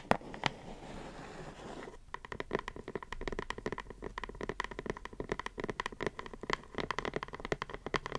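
A closed, medium-size printed cardboard puzzle box with cartoon art, held in the hands, is tapped and scratched with long acrylic nails. The first two seconds are mostly a soft, papery scratching with a couple of sharp taps. After that comes a long run of quick, dry, tightly damped taps on the cardboard that continues to the end.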